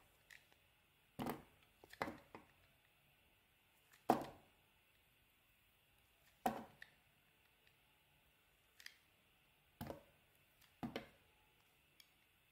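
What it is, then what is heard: Soap bar being carved. A utility knife blade cuts faceted pieces off a small, solid, yellow translucent glycerin-like soap bar with dark red inclusions, held in the hand. Crisp, crackling cuts and snaps come at irregular intervals, each decaying quickly, with quiet pauses between them.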